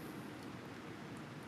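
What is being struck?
Nothing is struck.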